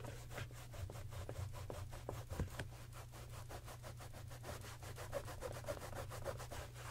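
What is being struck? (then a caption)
Leather sneaker rubbed with a microfiber cloth. A grey microfiber cloth held in the fingers rubs and wipes the upper and sides of a hollow, empty white leather Gucci sneaker with a green and red stripe, set on a shoe stand. Quick, even back-and-forth strokes make a soft, papery swishing with brief bright scratchy edges. A steady low hum runs underneath throughout.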